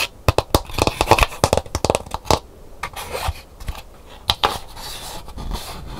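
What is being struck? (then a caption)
Dried calabash gourd bowl. Long nails scratch the painted inner surface and rim of a hollow, empty, dried calabash gourd bowl. Short, bright scratching clicks come in quick bursts, then a softer, hissing scrape follows, with more clicks near the end.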